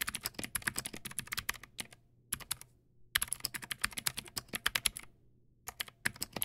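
Both hands type with their fingertips on a Teamwolf Zhuque+ X08, a backlit plastic mechanical keyboard with white plastic keycaps and clicky blue switches. Around forty sharp, bright clicks come in quick bursts, with short pauses near 2 seconds and again after 5 seconds. Each keystroke snaps and stops almost at once.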